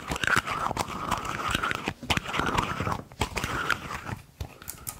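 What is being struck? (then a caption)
Metal canister. Long fingernails tap and scratch the body and cap of a hollow, silver cylindrical metal canister held in the hands, possibly twisting the cap. The result is a busy run of quick, dry clicks and scrapes with a faint metallic ring around 1.5 kHz and bright scratchy edges.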